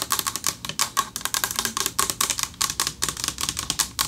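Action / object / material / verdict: tap / metal plaque / metal / none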